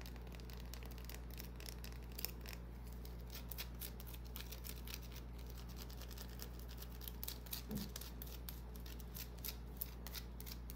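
Long nails scratch and tap a small, solid white bar of soap with a scratched surface, held in the hand. The result is a quiet stream of crisp, short, high scratchy clicks over a steady low hum.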